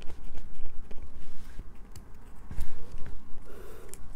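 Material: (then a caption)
Soap. A solid light-blue bar of soap is held up and scratched with long acrylic nails. The result is a series of dry, gritty scraping strokes with sharp bright ticks over a low rumble.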